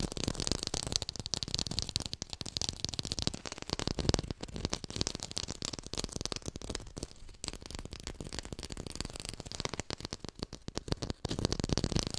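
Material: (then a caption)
Plastic. A textured artificial plastic lime is fast-tapped close to a hi-fi microphone. The result is a dense, continuous stream of short, dry taps with a broad sound that carries both low thump and bright crackly texture. The taps keep an even level throughout, with a few brief lulls.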